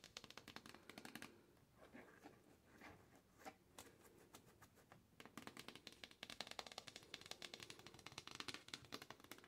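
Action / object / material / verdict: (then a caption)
tap / cardboard box / cardboard / none. Long pink acrylic nails and fingertips tap and scratch a medium-sized, hollow printed cardboard retail box for an Infantino baby carrier, standing upright on a white wire closet shelf. Quick, bright clicking taps open the clip, ease into softer scratching and scattered taps, then return as a dense, rapid flurry of crisp, dry clicks with almost no ring.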